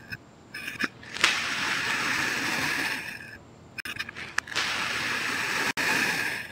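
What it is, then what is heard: Kinetic sand being sliced with a knife. A thin knife blade slices repeated diagonal cuts through a solid, packed red kinetic sand heart resting on a white surface. Each cut makes a crisp, gritty scraping hiss that is bright and high. Short crackly bursts alternate with longer, steady sweeps through the sand.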